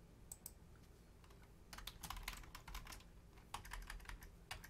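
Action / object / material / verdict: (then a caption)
tap / plastic computer keyboard / plastic / none. Long-nailed fingertips tap the membrane keys of a black plastic Logitech full-size keyboard with a hollow shell. A couple of isolated bright clicks come first, then a rapid flurry of typing, a short lull, and a second burst ending in one last tap. The clicks are crisp and short over a low, steady background hum.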